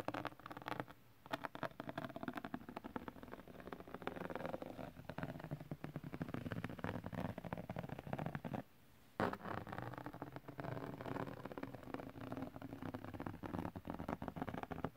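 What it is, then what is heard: Glitter paper sheet being scratched. The tip and edge of a curved dark knife blade is dragged across the glittery surface of a large, flat holographic glitter paper or cardstock sheet. It makes a dense, continuous, crackly scratching that sits mostly in the low and middle range with little brightness. The scratching breaks off briefly near the middle, then resumes just as busily.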